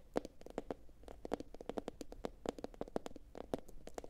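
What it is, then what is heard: Ceramic bowl tapped with fingernails. Long pointed acrylic nails from both hands tap quickly across a medium, hollow, empty blue glossy ceramic bowl turned upside down. The result is a quiet, rapid patter of short, dry clicks with a hollow mid-range tone around 500 Hz, each tap dying away almost instantly.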